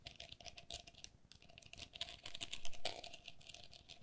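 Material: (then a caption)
Plastic. Long nails tap and scratch the mesh walls of a hollow, empty, pink perforated plastic lattice pen cup. The result is a quick run of light, crisp clicks with a bright, rattly edge and a faint steady ring underneath. A louder, scraping swell comes near the end.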